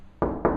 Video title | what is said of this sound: Buy to rent part 1 | when I tapped you can hear that it's quite solid